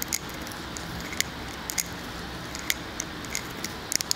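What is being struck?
Glass candle jar filled with wax.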